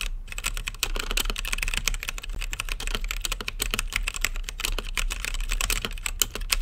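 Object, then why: Mechanical keyboard with plastic keycaps. Fingertips type steadily on an RGB-lit mechanical keyboard with plastic keycaps and a clear acrylic case. The result is a fast, continuous stream of short, bright clacking taps with no ring, peaking around 3 kHz, over a steady low hum.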